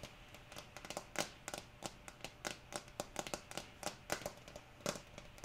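Long nails tap rapidly on the green plastic screw lid and sides of a small, apparently full amber jar held in one hand, making a quick run of short, dry clicks with a bright edge and almost no ring. Soft rain hisses steadily in the background.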